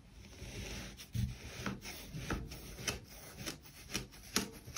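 A metal kitchen knife, held in one hand, slices down through a solid pink kinetic sand heart with sprinkle dots, ringed by small solid kinetic sand cylinders on a white table. Soft, gritty rubbing and scraping runs throughout, broken by about six crisp, crunchy cuts with bright, grainy edges. Each cut ends quickly, with no ring after it.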